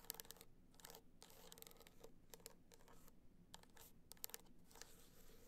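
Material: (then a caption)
Rhinestone. Long black nails scratch and tap along the top edge and surface of a gold, rhinestone-studded hard-shell clutch standing upright. Quiet, dry, bright scratching bursts alternate with short, sharp clicks that stop instantly, over a faint low hum.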